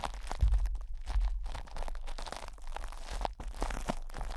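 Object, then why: Plastic cling film over a metal microphone grille. Fingertips scratch and rub crinkled plastic cling film wrapped over a metal microphone grille. The result is a close, continuous crunching and crinkling with irregular bursts and a heavy low rumble underneath.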